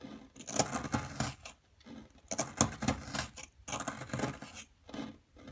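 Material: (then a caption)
Plaster. A small metal chisel scrapes and chips at a solid blue plaster dig block held down by one hand, with plaster chunks and powder scattered on a dark table. Bursts of dry, gritty scraping and sharp little chips come in short runs, separated by brief quiet pauses. The texture is broadband and crisp, with bright, high edges and very little ring after each strike.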